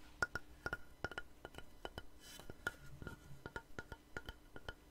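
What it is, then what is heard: Wooden board. A long, solid, light-colored wooden board held upright is tapped with fingernails and fingertips, giving a rapid, irregular series of short, dry knocks. Each knock has a woody tone near 1.4 kHz and dies away almost at once, over a soft, low background.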